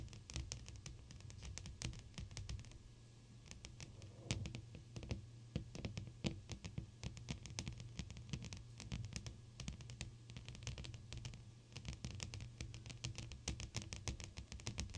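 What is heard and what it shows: Long pointed blue acrylic nails on both hands tap across a large flat clear glass sheet, with the fingertips pressed against the surface. Rapid, uneven streams of sharp, bright clicks die away almost instantly, over a steady low hum.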